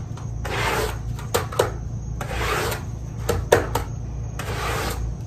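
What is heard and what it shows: A small, wet, pink fabric pile rug is scrubbed with a handheld stiff-bristle scrub brush in fast rubbing strokes. Three broad, hissing, wet scrubbing passes rise and fade, separated by short sharp clicks and taps of the brush. A steady low hum runs underneath.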